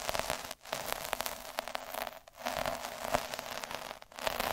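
A metal-needle derma roller is rolled back and forth over a flat red felt square resting on a dark table, its needles scratching the felt fibres. The result is a dense, crackling, static-like scratch with bright high hiss and a faint tone near 600 Hz, dipping briefly to near silence at each change of direction.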